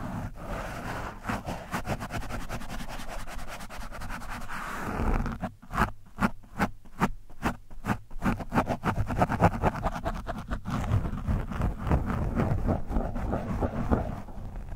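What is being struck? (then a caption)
Foam microphone windscreen and metal screwdriver shaft. The metal shaft of a black-handled screwdriver is scraped along the side of an orange foam microphone windscreen. The result is a muffled, low, bassy rubbing and scratching with almost no bright content. Steady scraping in the opening seconds gives way to a run of distinct, quick strokes in the middle, then settles back into denser continuous scratching.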